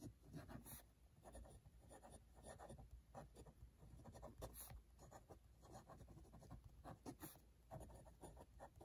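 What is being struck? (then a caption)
Metal-nib dip pen on a paper notebook page. A metal-nib dip pen writes by hand on an open cream paper notebook page lying on a desk beside red wax seals, the nib scratching across the thin sheet over the solid notebook beneath. Quiet, continuous scratching strokes rise and fall, with a few sharper, brighter scrapes standing out over a low, steady background rumble.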